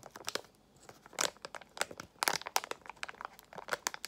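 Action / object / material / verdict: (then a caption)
scrape / foil-lined plastic pouch / foil plastic / none. A small, partly filled Extra gum pouch made of foil-lined plastic is crinkled and squeezed by fingers with long nails. Sharp, bright crackles come in quick irregular bursts with short quiet gaps between them, and there is no low-end body.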